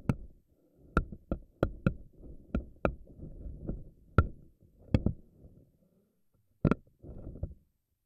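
Long nails grab and pluck the rubbery strands of a pink silicone spiky anemone ball. About a dozen sharp, dry snaps stand out over a soft, low, rubbery squishing rustle. Each snap dies away almost instantly, with a brief silent pause before the last few.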